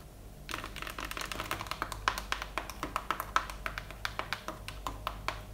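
A cardboard tray for Egyptian sweets, covered in a firm gold material rather than plastic, is tapped rapidly with fingertips. The result is a quick run of crisp, fairly loud clicks that end almost at once, with a bright papery edge. The bottom of the tray is plainer cardboard.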